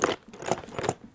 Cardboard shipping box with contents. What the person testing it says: whatever's in there is marching